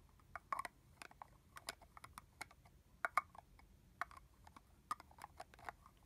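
Long nails tap the hollow plastic cap and neck of a red plastic body-mist bottle with liquid inside. A string of quick, dry, clicky taps sounds with a hollow mid-pitched tone around 1.2 kHz, each dying away almost instantly, at a quiet level.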